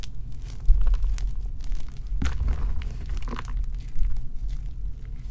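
Bare fingers and palms squeeze, crush and rub white and pink gym chalk blocks (magnesium carbonate), solid and crumbly, heaped in a round dark bowl, breaking them into powder and lumps. Dense, dry crunching and crumbling crackles run throughout, with a sharper snap of breaking chalk partway through, over a steady low, dull rumble.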